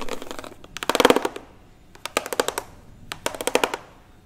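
A hollow plastic toy xylophone with a white ridged top is held and turned in both hands while fingernails rapidly scratch and tap across its plastic ridges. The result is bursts of quick, dry clicking taps with a hollow tone around 490 Hz, separated by brief quiet gaps.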